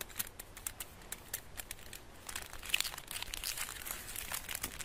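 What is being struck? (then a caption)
Chocolate bar in metal foil wrapper. Fingertips rub, crinkle and pinch the crinkled gold foil wrapped around a solid rectangular chocolate bar. The result is a quiet, dense run of bright, crisp crackles and rustles that grow busier and slightly louder in the second half.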